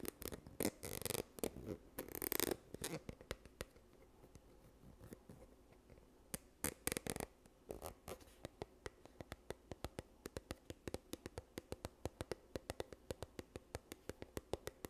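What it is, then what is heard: Plastic squeeze tube tapped and scratched. Long nails tap and scratch a yellow squeezable plastic sunscreen tube, partly full and held upright. Dense scratchy bursts open the clip, then light scattered clicks follow. The clip ends with a steady run of crisp, rapid hollow taps.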